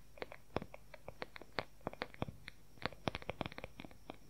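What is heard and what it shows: Fingernails tap and scratch quickly on the oval wooden back of a wooden paddle hair brush. About two dozen short, dry clicks come in an uneven rapid pattern, each one sharp with almost no ring. A faint scratchy texture sits between the quiet taps.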